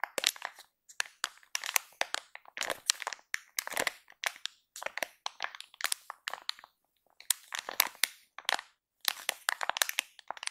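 Both hands press and tap a full, soft plastic film baby wipes pack with fingertips and long nails, crinkling and crushing the plastic. Bursts of bright, crisp crackling and crunching come in quick clusters with short quiet gaps between them. The sound is dry and close, with almost no low end and no ringing after each crackle.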